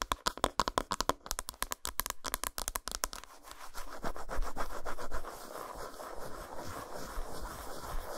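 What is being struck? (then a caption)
Solid dark chocolate bar. Long nails work over the flat back side of an unwrapped solid dark chocolate bar resting on a towel. A quick run of sharp, dry clicks and taps fills the first three seconds, then gives way to a steady, grainy scratching that continues to the end.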